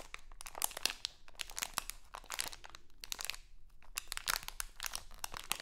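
A small printed crinkly plastic Halloween candy bag is held in both hands and crinkled and scratched with long acrylic nails. Dense bursts of bright, crackling crinkles come in quick clusters with brief quieter gaps between them.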